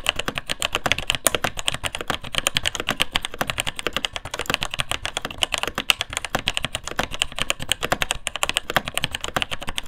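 Both hands type continuously with their fingertips on the plastic keycaps of a vintage beige plastic mechanical keyboard with Taiwan Jet switches and a hollow case. A rapid, steady stream of short, bright switch clacks, each dying away almost instantly.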